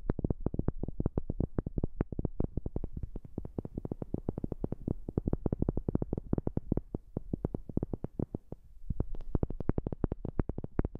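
Rapid tapping on a wooden object, recorded with a new microphone. It makes a steady stream of short, dull, low-pitched knocks that die away almost instantly with no ring. The tapping eases briefly near the end before picking up again.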